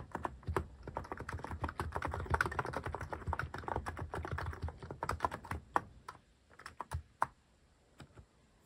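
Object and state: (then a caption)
Mechanical keyboard with plastic keycaps. Fingertips type on a cream mechanical keyboard fitted with sculpted plastic cat and paw keycaps. A fast, dense run of short, clacky keystrokes with a low thock fills the first five or so seconds, then slows into sparse, separate taps. Each press is crisp and dies away almost instantly.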